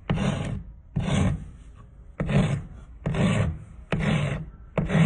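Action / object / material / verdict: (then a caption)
scrape / thin wooden spindle filed with a steel rasp / wood / none. A thin, solid wooden spindle held by hand is filed with a steel rasp in fast strokes, with sawdust falling onto concrete. Six rough, scraping rasp strokes come in a loose rhythm, each a dense, gritty burst with a low body and a bright, hissy top. The strokes end abruptly into a quieter rustling tail before the next one begins.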